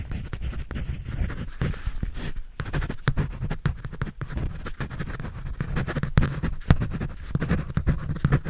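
A pencil scratches and draws across a white paper sketch pad held by hand. The result is a steady stream of dry, rasping strokes with a heavy, low, rumbling body, quick brushy scrapes, and no ringing between them.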